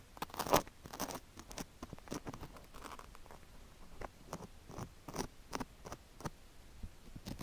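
A thin wooden stick scratches and scrapes the ear and canal area of a white silicone ear on a square microphone block, which is coated in sugar granules. Close, gritty crunches and crackling scrapes come in quick, uneven bursts of dry clicks, with the loudest crunch near the start. Brief quieter rustling fills the gaps between them.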